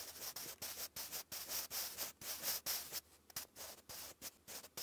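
A sharpened wooden pencil writes cursive on a lined grey paper notebook page, its graphite scratching across the paper. About fifteen short, bright, raspy strokes follow one another at an uneven pace, with brief quiet gaps between them.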